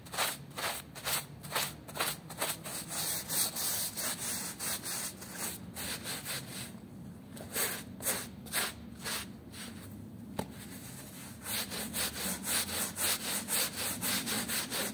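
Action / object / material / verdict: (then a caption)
scrape / woven textile rug scrubbed with a hand brush / textile / none. A gloved hand scrubs a small, wet, patterned woven rug with a small hand brush, and the corner is briefly folded over. Quick, bright, rasping brush strokes repeat at about two per second. They ease into a softer, wet rubbing stretch midway, then pick back up toward the end.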